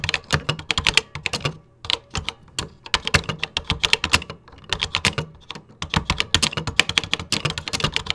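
Fingertips type in a steady rhythm on the beige plastic keys of a 1980s computer keyboard. The result is a dense run of bright, short plastic clicks with brief pauses near 1.7 and 4.6 seconds.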